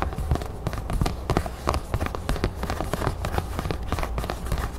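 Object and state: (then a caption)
Craft foam crown cutout. Long nails quickly tap and scratch a thin red craft foam crown cutout held close while the hands bend it. The result is a dense run of soft, dull clicks and scrapes over a low rumble.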